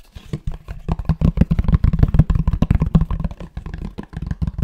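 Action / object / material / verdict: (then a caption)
tap / fabric-covered cardboard box / cardboard / none. A grey fabric-covered rectangular cardboard box, held flat and upright, is tapped and scratched on its cover with fingertips and nails. Soft, dull, low thumps come in quick, irregular bursts, each dying away almost at once, with faint scratchy texture between them.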